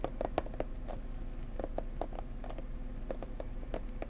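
Long nails tap on the sides and edges of a small blue floral cardboard box. The taps are light, quick and dry, with a hollow midrange tone and no ring, scattered irregularly over a steady low hum.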